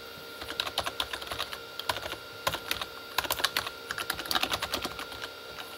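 Both hands type with their fingertips on a Corsair K35 plastic membrane keyboard with red backlit keys. A quick, uneven run of short, bright plastic clicks comes in bursts, each dying away almost at once, with very little low end. A faint steady tone sits underneath.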